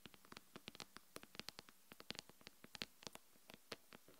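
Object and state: Smartphone glass screen.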